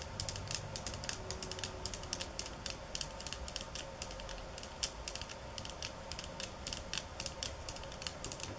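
Long nails tap and scratch along the slats of a bamboo slat mat resting on a countertop. Dozens of quick, sharp, bright clicks land in uneven bursts throughout, each dying away almost instantly over a soft scratchy hiss and a faint low rumble.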